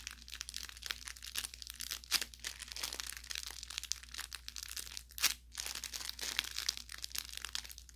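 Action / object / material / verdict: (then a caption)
scrape / stuffed fabric toy with crinkle filling / fabric / none. A thumb presses and squeezes the stitched tip of a soft-stuffed orange velour fabric carrot plush toy with crinkle filling. It makes dense, bright crinkling and crackling throughout, with sharper crunches near 2 and 5 seconds, over a faint steady low hum.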